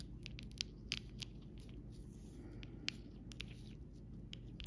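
The round tip of a copper metal stylus, held by a hand with red nails, taps and scratches over the raised clear gems of a rainbow acrylic rhinestone sticker sheet lying flat on fabric. A series of short, sharp, bright clicks with quick scratchy scrapes between them sits over a steady low hum.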